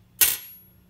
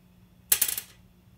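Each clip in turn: First: brass guitar nut, bright metallic ring. Second: plastic guitar nut.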